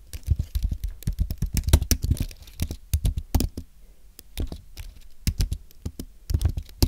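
Fingertips type quickly on a thin, solid white Apple Magic Keyboard with an aluminum base and plastic keys, resting on a desk. The taps come as a rapid, uneven patter of short, dull thuds with a light bright click on each keystroke. Each tap dies away almost at once, with a brief lull before the typing picks up again.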